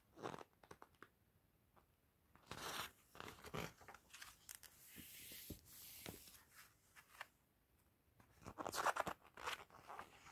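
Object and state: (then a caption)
Glossy magazine pages being flipped. A gloved hand quickly lifts and flips the thin pages of an open glossy paper magazine. The sound is quiet crinkling, with sharp papery snaps and short bursts of bright rustle. A louder flurry of crinkling comes near the end.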